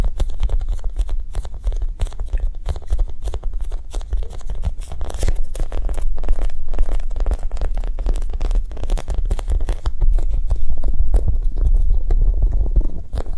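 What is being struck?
Foam squishy toy.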